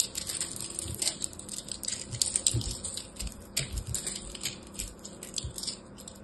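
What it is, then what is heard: Pressed soap ball being cut. A blade cuts into a hand-sized solid ball of pressed teal and orange soap chips, crushing it. Dense, crunchy cracking with bright, high crackles and occasional low thumps fills the clip, each snap dying away almost instantly.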